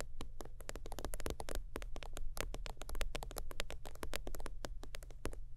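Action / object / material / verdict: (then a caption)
tap / synthetic-leather zip wallet / faux leather / none. Long teal nails tap and scratch rapidly across the top of a closed holographic faux-leather zip wallet lying flat. Dense, crisp, bright clicks and short scratchy strokes fire in quick irregular bursts over a steady low hum.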